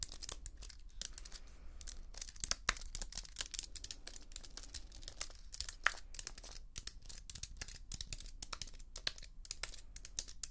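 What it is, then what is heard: Computer keyboard scratched and tapped with nails. Long nails scratch and tap the aluminium edge and plastic keys of a slim white plastic and aluminium computer keyboard. The result is a quiet, continuous stream of dry, bright clicks and scratchy rasps with no ring, over a faint steady low hum.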